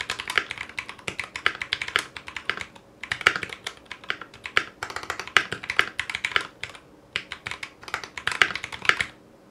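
A foam-lined 60% Clueboard mechanical keyboard in a metal case, fitted with Zealios V2 62g switches, GMK ABS plastic keycaps and a coiled cable, is typed with the fingertips of both hands. Dense bursts of short, bright keystroke clacks with little low end come in quick runs, separated by brief pauses, and each one dies away almost at once.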